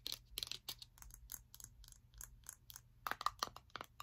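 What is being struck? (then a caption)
Glass jar of honey with a metal lid. Long acrylic nails tap and scratch on a round glass jar full of honey with a metal lid, held in one hand. A quiet series of sharp, bright clicks and scratchy strokes plays over a low steady hum. The taps get crisper toward the end, some with a brief ring near 1.2 kHz.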